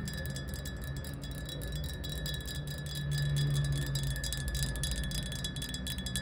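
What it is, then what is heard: Glass bottle tapped with nails. Long nails tap rapidly on a clear, upright glass bottle that is mostly empty, with a little liquid at the bottom. The hollow bottle gives off a steady stream of ringing, chime-like clinks over a low, constant rumble.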